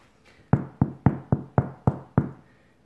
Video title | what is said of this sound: DAY 7 Sourdough Starter Tutorial | as long as it sounds hollow when you tap it underneath so here i know that this loaf is definitely ready and baked through